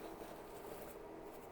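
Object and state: Nothing is struck.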